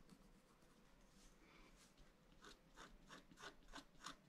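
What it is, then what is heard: Scratch-art paper sheet. A pointed wooden stylus scratches lines into the coating of a thin, black-coated scratch-art card lying flat on a table and held down by one hand. Soft, faint rubbing gives way to a quick run of brighter, dry scratchy strokes that grow slightly louder toward the end. The whole clip is quiet and close.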